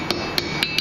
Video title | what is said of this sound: Viking Axe with Dereck Glaser at NESM | tapping these edges down that sounds solid it's not really moving